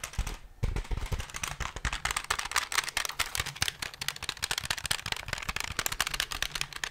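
A plastic desk calculator is held close to the microphone while fingertips and nails tap rapidly on its keys and back. The result is a quick, uneven run of sharp, dry plastic clicks with a bright, clattering edge and almost no ring, with a short quiet gap near the start.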